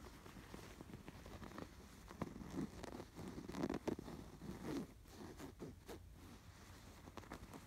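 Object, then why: Canvas pillow with raised yarn embroidery. Fingertips and nails scratch the raised yarn embroidery on a cream woven embroidered canvas pillow. The result is quiet, dry scratching and rustling in uneven bursts, with short crackly strokes concentrated in the low-mid range.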